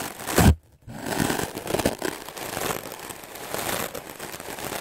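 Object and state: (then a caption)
Melamine foam sponge being brushed. A white melamine foam sponge block, held in the hand, is scrubbed fast and hard with a wooden-backed stiff-bristle clothes brush. A loud, rough scrape opens the clip, followed by a brief silence. Then steady, scratchy, crinkly brushing strokes continue to the end.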